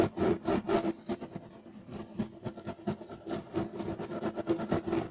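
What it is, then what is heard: Woven fiber carpet. Fingertips and nails of both hands scratch fast across a flat, solid, beige striped woven fiber carpet. It makes rapid, irregular bursts of dry, rasping scratches with a mid-range tone around 330 Hz. The scratching is louder at the start and end and softer in the middle.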